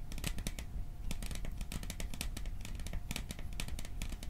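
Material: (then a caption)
Metal. A small metal popcorn tin is tapped and scratched in a fast, steady series of short, sharp ticks over a low, dull rumble. Each tap stops almost at once with very little ring.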